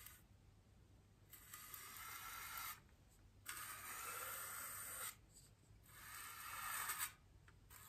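A small paintbrush with natural bristles and a wooden handle brushes and rubs the surface of a large, solid white polystyrene foam wreath ring lying on a table, while a hand with long green nails holds the ring. Three long, airy, bright scratchy strokes rise and fall, separated by quiet gaps.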